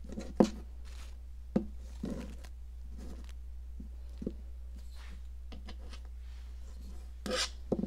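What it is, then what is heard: Cast chalk block scraped with a metal tool. A metal sculpting tool scrapes along the ridged surface of a red, hand-sized, solid popsicle-shaped block of cast chalk held in long-nailed fingers. Short dry, gritty scrapes and crunchy taps come in scattered bursts with quiet gaps, a few sharper and louder, over a steady low hum.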